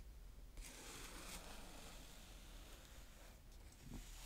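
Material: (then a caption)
Sand. A small blue plastic spade, held by fingers with dark-painted nails, scrapes and draws through a flat patch of brown kinetic sand on a plastic tray. A soft, steady, gritty hiss begins after about half a second and continues with a faint low rumble underneath, brightening briefly in strokes before easing near the end.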